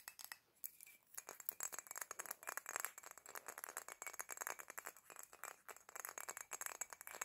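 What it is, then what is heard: Glass perfume bottle tapped with nails. Long black nails tap and scratch a small black glass perfume bottle with a gold ornament and cap, working over both the bottle and the ornament. The result is a rapid, continuous stream of quiet, bright clinks and ticks with very short ring and almost no low end.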